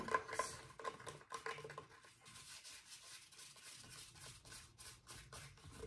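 Fingertips rub and scratch along the fingers and finger joints of a hollow, roughly life-size plastic Halloween skeleton hand and forearm held in a lap. Quiet, dry scraping and rubbing continues throughout, with a few sharper light plastic ticks near the start and a soft, bright hiss over the whole clip.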